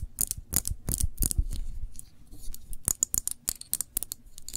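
Long nails tap and scratch the sides of a small glass jar full of cranberry jam, held in both hands and tilted. Quick, bright clicks with a dull low thump come in uneven bursts, with soft scraping and quiet pauses between them.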